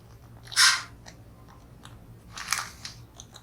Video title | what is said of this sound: Temu Fishing | no rattles in that one